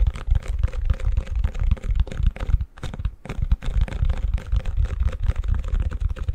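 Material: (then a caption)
Plastic. Fingertips and nails tap and scratch the back of a long, empty white plastic ice cube tray held upside down. The result is a rapid, irregular run of short, dull, low-heavy taps mixed with scratchy crinkling, with a brief lull around the three-second mark.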